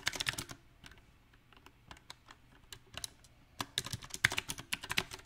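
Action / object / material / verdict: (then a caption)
tap / mechanical keyboard with plastic keycaps / plastic / none. Both hands type with their fingertips on a backlit compact Magicforce 68 mechanical keyboard with round typewriter-style plastic keycaps on a solid silver metal frame. Bright, crisp clacks come in an uneven rhythm: a quick flurry, then sparse scattered keystrokes, then dense bursts again. Each tap is short and dry, with almost no ring.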